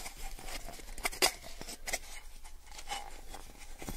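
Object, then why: Thin plastic cup. A small, hollow, empty clear plastic cup is held sideways and tapped along its side with fingernails. The result is a run of quick, light, bright clicky taps over a low background hum, with two sharper, louder taps near the middle.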